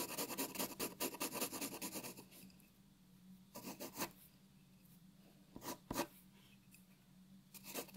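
A graphite pencil draws short hatching strokes on a white paper sheet resting on a wooden table, making dry, bright scratching. A quick, dense run of strokes fills the first two seconds, then scattered bursts of scratching follow between quiet pauses, with a faint steady low hum underneath.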